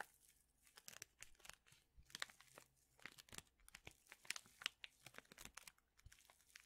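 A small, printed paper and foil tea envelope that appears sealed is crinkled and folded between the fingers. It makes quiet, dry, bright crackles in irregular bursts with almost no low end, and each snap dies away instantly.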